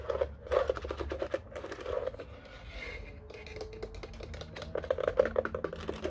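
Fingertips tap and press the keypad buttons of a black hollow plastic office telephone standing upright. Quick bursts of hollow plastic clicks with a tone near 520 Hz ease into a quieter, softer stretch midway, then pick up again into brisk tapping.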